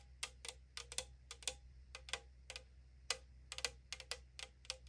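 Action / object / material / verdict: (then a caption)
tap / thin aluminum drink can tapped with fingernails / aluminum / none. Long nails tap and scratch the printed side of a tall AriZona aluminum drink can made of thin metal. About sixteen quick, bright, dry clicks land at an uneven pace and die away almost instantly. A faint low hum runs steadily underneath.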